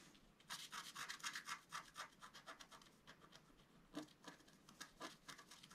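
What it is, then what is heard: Scratch-art card being scratched. A wooden stylus scratches short strokes into a flat, black-coated scratch-art card, about A4 size, resting on a table. A quick, fairly regular run of dry, bright scratching bursts comes at about four per second, strongest in the first two seconds, then softer with a few sharper strokes later.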